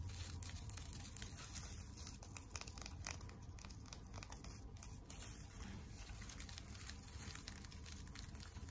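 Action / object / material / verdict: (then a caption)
scrape / tinsel decoration on a wire frame / tinsel / none. Long nails scratch and tap a flat tinsel teddy bear decoration on a wire frame, working over the tinsel and the wire edges. The clip is quiet, with a steady stream of soft crinkling, scratchy rustles and light taps, and faint high, bright crackle above a low rumble.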